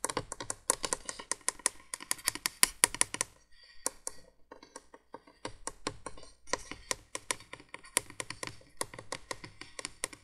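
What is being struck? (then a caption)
Plastic window candle-light base tapped with long fingernails. Long nails tap rapidly on the hollow plastic base of a 1980s window candolier light, making dense runs of sharp, bright clicks. There is a short sparse pause before the tapping picks up again.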